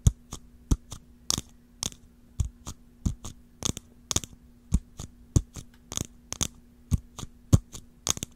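Long fingernails tap the curved dome of a small, round, hollow clear jar with a swirled blue-green pattern and a clear ridged lid, as the jar is turned from sideways to upright; its body may be plastic or glass. Twenty-two short, dry taps land in an uneven rhythm, each a bright click over a soft low knock that dies away at once. A steady low hum runs underneath.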